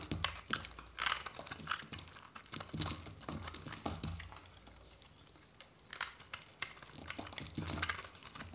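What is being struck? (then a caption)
Bar of soap scraped with a knife. A hand-held solid white varnished dry soap bar is scraped and shaved with a metal knife blade, and curls of soap peel away. A steady run of dry, crisp, crackling scrapes with bright edges is heard, some strokes carrying a soft low thump. Each stroke stops almost instantly with no ring.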